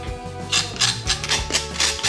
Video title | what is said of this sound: Let's Cook with Leslie Tay: Crazy Crunchy Sio Bak | hear how crispy it is now